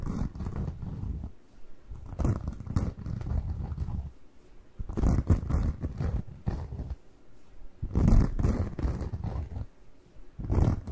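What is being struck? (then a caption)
Cellulose kitchen sponge. A single porous yellow cellulose kitchen sponge with a green layer is squeezed and rubbed by fingertips up close. It gives repeated squishy, squeaky bursts of low, rumbling friction, mostly deep in tone, with brief bright crackles at the start of each squeeze and quieter gaps between them.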